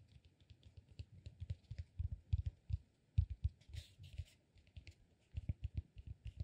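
A solid peanut-shaped cork massage ball, held upright, is scratched and tapped with fingertips. Quick, dull, low taps come in an uneven stream with faint, bright scratching between them. The sound is quiet and dies away almost at once.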